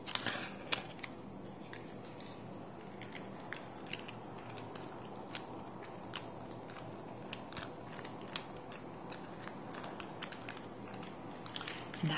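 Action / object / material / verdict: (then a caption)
tap / plastic pocket calculator / plastic / none. A small silver plastic pocket calculator with a keypad is held and then rests on a table while fingertips and nails press and tap its plastic buttons. The result is a long series of short, bright, sharp clicks and taps that die away almost instantly, over a steady, quiet low hiss.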